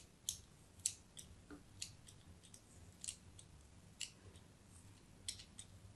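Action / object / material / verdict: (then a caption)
scrape / bar of soap / soap / none. A fine blade scratches crosshatch cuts into the face of a solid white embossed soap bar held in a hand with pink nails. About eleven short, crisp, high-pitched scrapes and clicks are heard, each dying away almost at once, over a faint low hum.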